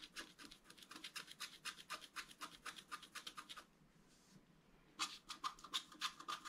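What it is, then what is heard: Scratch-art card being scratched. A wooden stylus scratches short lines into a flat scratch-art card (black coating over colored foil) resting on a table. Quick, bright, dry scratch strokes repeat about three to four times a second, then stop for about a second of near-silence. They resume a little louder and sharper.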